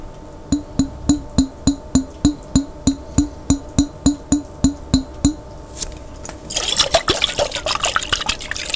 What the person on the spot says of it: ASMR Tapping On A Jar With Water